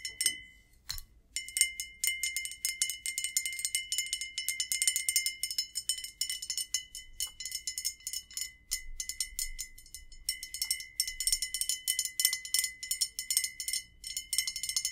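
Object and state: Glass bottle tapped with fingernails.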